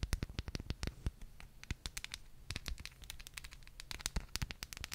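Very long painted nails tap and scratch the outer surface of a small, hollow white ceramic cup or holder with a gold floral print, held in one hand close to the mic. Rapid, uneven clicks with bright, crisp edges and a dull low thump die away almost instantly. Soft scratchy rasping fills the gaps between them.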